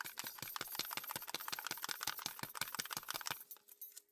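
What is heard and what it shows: A plastic bottle of white fluid ink with a mixing ball is shaken at length, the little ball rattling inside with rapid, bright clicks that lift the settled pigment off the bottom of the bottle. The rattling runs steadily for about three and a half seconds, then thins out to a few faint taps as the shaking stops.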